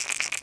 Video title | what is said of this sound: BEST TECHNIQUES For River Fishing With A SQUAREBILL -- Paul w/ BURLY FISHING | it's not a deep thump it's more of a rattle